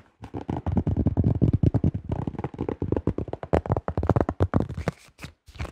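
Fingertips and nails tap rapidly on the thin shell of a yellow plastic disc golf disc held close to the microphone. A dense run of short, dry, hollow taps carries most of its energy in the low range, with brief pauses between bursts. Each tap dies away almost instantly, with no ring.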